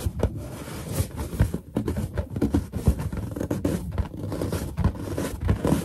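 Long nails tap and scratch on a large, hollow, inflated white latex balloon while fingertips press into its surface. The result is a steady run of soft, low, drum-like thuds mixed with dry scraping and rubbing textures.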